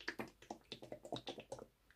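A MISSHA Sun Gel SPF50+ PA++++ sunscreen in a plastic tube is shaken before use, as its packaging instructs. The liquid contents slosh and click in quick, short bursts that fade out toward the end.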